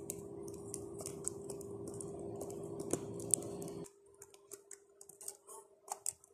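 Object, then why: Plastic laptop keyboard keys. Fingertips and long nails repeatedly tap and press the black plastic keys of a laptop keyboard, with the mic resting directly on the keyboard. Crisp, bright clicks and ticks come in an uneven typing rhythm over a steady low hum and background hiss. At about four seconds the hum and hiss suddenly drop away, leaving the sharp key clicks against near silence.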